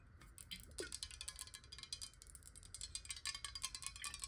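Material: Glass.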